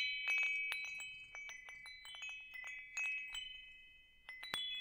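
A small hanging wind chime with hollow metal tubes, a wooden top disc and a wooden striker is held up by its hook in one hand while the other hand's fingers strike and push the tubes so they ring against each other. Bright, overlapping metallic clinks and tinkles come in irregular bursts, each leaving clear, high, sustained tones that ring on and slowly fade between strikes.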